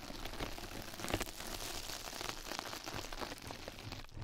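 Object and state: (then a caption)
Mesh bath sponge. Two mascara brushes scratch and brush across a flat yellow knitted-mesh scrub sponge pad held over the microphone, which is turned to show its other side. The result is a steady, dense crackling and rustling texture with a low rumble underneath and bright, fizzy detail on top, punctuated by small scratchy peaks.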